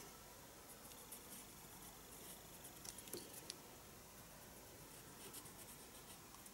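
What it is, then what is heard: Pencil scratching on sketchbook paper. Pencil shading strokes scratch across the paper page of a small spiral sketchbook resting on a desk. The sound is a quiet, steady, bright papery hiss, with three sharper ticks standing out near the middle.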